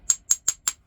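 Four quick, sharp taps on a "Primo" knapping stone at a spot suspected of having a flaw produce bright, high-pitched clicks that die away almost instantly. The stone sounds solid, not cracked, so it may be knappable all the way through.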